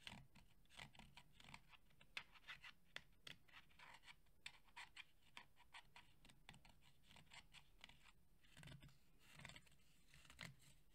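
Fingernails quickly scratch and tap the woven fabric grille near the logo of a red JBL cylindrical portable Bluetooth speaker, a hollow fabric-covered plastic body held in both hands. Quiet, dry, bright scratches and short clicky taps come in rapid, uneven bursts with a soft low thud under them. Each sound dies away almost at once.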